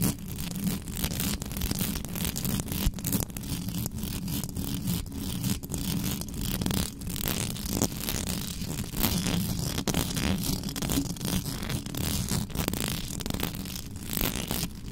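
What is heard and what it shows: Long pink nails scratch and flick fast over the round metal mesh grille of a black microphone with no cover on it. The sound is a dense, continuous, low-heavy scraping rumble, broken by rapid, sharp, bright ticks that stop instantly with no ring.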